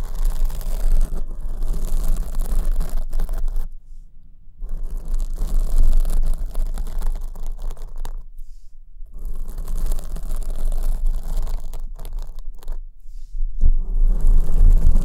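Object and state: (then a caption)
Foam microphone windscreen being scratched. Long nails scratch down the porous surface of a black foam windscreen on the right microphone. The result is a dense, muffled, rumbling scrape heavy in the low end, broken by a few brief near-silent pauses before the scratching resumes.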